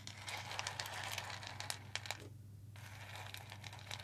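Fingertips rub and stir a layer of whole roasted coffee beans on a white ceramic plate held up toward the camera. A dense, bright, crinkly rustle is peppered with sharp little clicks and crunches, dipping briefly to a quieter patch just past the midpoint before the stirring resumes. A steady low hum runs underneath throughout.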